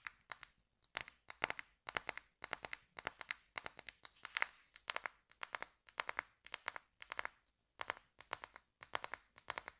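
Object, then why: Glass bottle. An apparently empty, hollow brown glass bottle with a pink label is held horizontally and tapped and scratched with fingernails. It produces quick bursts of bright, clinking taps that die away almost at once, with short pauses between the clusters. The sound is thin and high with no low end.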